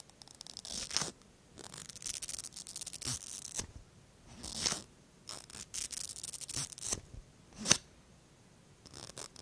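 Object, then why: Plastic mascara tube with bristle brush wand. The thin bristle brush wand of a small pink plastic mascara tube is drawn through the fingertips in repeated strokes. Each stroke makes a dry, bright, hissy scraping and brushing sound with almost no low end, and a few sharper flicks stand out. Short pauses of near silence separate the strokes.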